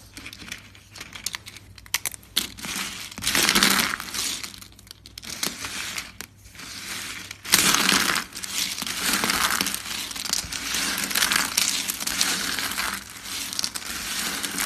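Thin, dry, tan soap flakes are snapped by fingers and crushed by hand on a mat. Bright, brittle crunching and crackling come in dense, irregular bursts, with sharp snaps between louder stretches of grinding.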